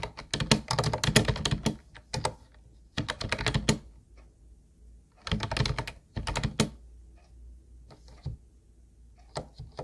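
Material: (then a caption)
Plastic. Both hands type with their fingertips on a teal Ubotie plastic keyboard with round white plastic keys, which sound hollow. Bursts of rapid, sharp clacking keystrokes with a low, thunky body alternate with short pauses and a few isolated taps. Each key stroke dies away almost instantly.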